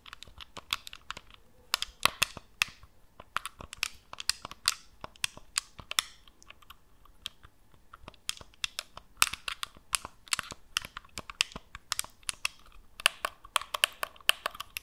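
Long nails tap and scratch the top surface and buttons of a hollow black plastic PS4-style gamepad held flat over the microphone. The result is a dense, irregular stream of sharp, bright clicks and ticks with brief scratchy bursts, each dying out almost instantly, with almost no low end and short quieter pauses between clusters.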